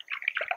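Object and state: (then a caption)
Mature coconut, water sloshing inside. A fully mature "shaker" coconut, still in its thick husk, is shaken by hand, and the water inside sloshes audibly. The quick, bright splashing comes through because the coconut holds less water and much more thick meat at this last stage of maturity.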